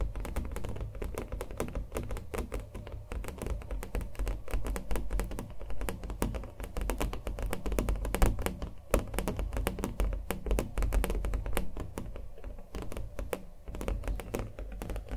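Fast fingernail tapping on the textured acrylic-painted surface of a small stretched canvas on a wooden frame, held in hand. The rapid, dense stream of short, dry taps has a hollow, low thump with very little high end, and each tap dies away almost at once.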